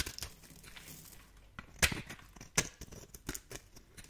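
A metal blade scrapes across a solid, translucent yellow-orange bar of dry soap held in the hand, shaving off crunchy flakes. The result is a series of short, dry, bright crunching and crackling scrapes, with a couple of louder sharp crunches in the middle and quiet rustling in between.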